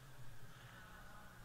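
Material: Nothing is struck.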